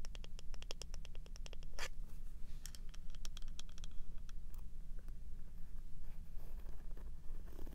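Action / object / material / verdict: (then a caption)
tap / wooden hairbrush / wood / none. Long manicured nails tap and scratch along the solid wooden back and bristle side of a small handheld hairbrush held in one hand. Quick, sharp clicks come in rapid runs, mixed with brief scratchy rasps, over a steady low hum.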